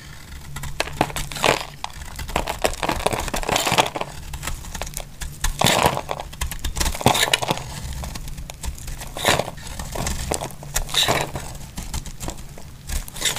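A solid, dry pink Clinico soap bar, held in one hand with long glittery nails, is shaved and carved with a utility-knife blade in the other hand. Flakes fall off with dry, crumbly scraping and crackling cuts, in irregular bright bursts over a faint low steady hum.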